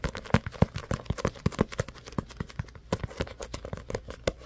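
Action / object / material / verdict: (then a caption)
tap / paperback book with card cover / paper / none. Fingertips and nails tap and scratch the glossy card cover and edges of a small paperback book held in both hands. The result is a quiet, rapid, irregular series of short, dry taps with a soft low thump, interspersed with faint papery scratching. Each tap dies away almost instantly.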